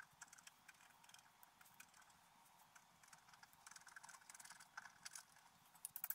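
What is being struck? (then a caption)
Black-coated scratch art paper scratched with a wooden stylus. A wooden stylus point scratches a flat, black-coated scratch art paper page showing a fairy on a unicorn, which lies on a table while the other hand holds the sheet steady. The clip is quiet: a run of short, dry, bright scraping ticks with almost no low end. The strokes grow denser and sharper toward the end.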